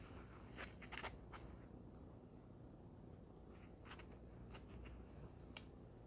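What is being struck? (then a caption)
White foam packing block. Long painted fingernails and fingertips squeeze, rub and tap a small, soft white foam packing block held in both hands. Quiet, irregular taps and scratchy, bright squeaks crackle over a steady low background hum, with a few sharper clicks standing out.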